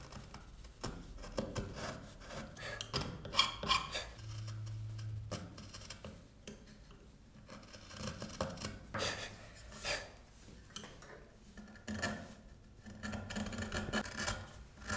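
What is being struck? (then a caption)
Hardwood carved car body part. A narrow steel file or chisel rubs and scrapes the edge of a solid hardwood car body part held in the hand, raising curls of wood. Irregular, bright rasping strokes come in short bursts of varying loudness, with a brief low hum partway through.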